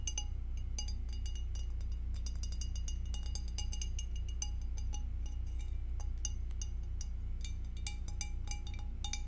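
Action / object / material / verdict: tap / glass object / glass / none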